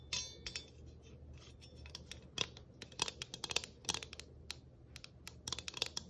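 A flat, round galvanized tin ornament with a Christmas tree cutout and a ribbon bow is held in both hands and scratched and tapped with long nails. Bright, thin metallic clicks and scratchy rasps come in quick irregular bursts over a faint low hum, each tick dying away almost at once.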